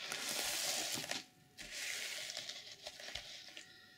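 Long nails scratch and flip the silver and black sequins on an opened-out reversible sequin fabric journal cover. The result is a bright, hissy rasp of dense crinkly clicks that dips briefly into near-quiet, then resumes with scattered sharp ticks over the scratching.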